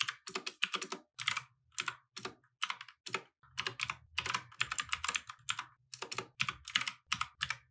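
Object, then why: Mechanical keyboard with plastic keycaps. Fingertips type continuously on a compact mechanical keyboard with plastic keycaps resting on a wooden desk. The result is a steady run of bright, sharp clacks that die away almost instantly, arriving in quick bursts separated by brief pauses.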